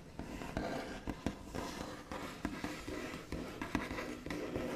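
Long nails tap rapidly with their backs on a solid, flat, white-finished wooden tabletop, with scratchy tracing between the taps. The sound is a steady run of short, dry clicks over a soft, continuous rasp, with a body around 250 Hz and almost no ring after each tap.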